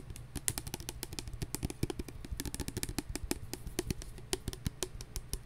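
Fingernails tap on a clear plastic hand sanitizer bottle with a flip cap, partly filled with gel and held in the hands. Quick, dry, clicky taps come in a steady, dense run, each one bright at the top and short, over a low, continuous rumble underneath.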